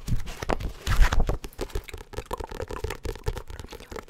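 A medium, solid paperback book with a glossy cardstock cover is held in both hands close to the microphone while fingernails and fingertips scratch and tap its cover and edges. The result is a fast, uneven run of short, dull taps and scratchy crinkles that is heavy in low thuds, loudest near the start and then a steady patter of quick strikes.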